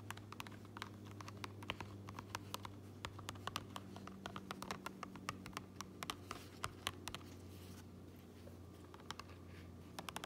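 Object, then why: Fabric cap lining. Fingertips and long nails tap and scratch the gray lining and printed seam tape inside an upturned, empty fabric baseball cap, with a large metal ring worn on the hand. The result is a steady run of quick, dry, bright clicks and soft scratches with almost no ring, over a low constant hum.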